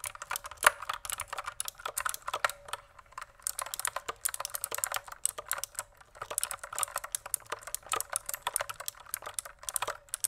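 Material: Plastic.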